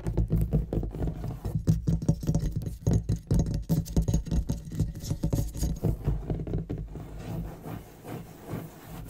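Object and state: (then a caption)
Leather-topped wooden desk. Fingertips and longish fingernails on both hands rapidly tap and scratch the leather inlay of a large, solid, heavy dark wooden writing desk edged with a gold-tooled border, including fast sweeping strokes across the surface. The result is a dense, irregular patter of dull, low thuds and rustling scrapes with almost no bright content, easing to softer scratching toward the end.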